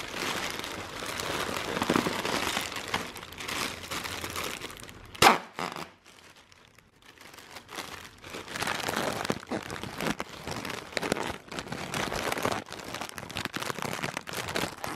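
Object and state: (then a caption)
Plastic air cushion packaging. Clear inflated plastic air-pillow packaging is crinkled and squeezed with the fingers and nails, giving a dense, bright crackling rustle. A single sharp, loud snap cuts through just past the five-second mark, followed by near-silence for about two seconds before the crinkling resumes and continues to the end.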